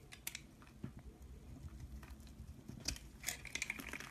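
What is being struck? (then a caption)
Soap bar scraped with a knife blade. A knife blade scrapes thin curls off a solid pink bar of soap held in the hand, with a pile of shavings below. Quiet, dry, bright scraping and crinkly ticks come in short bursts over a faint low hum, each stroke stopping almost at once.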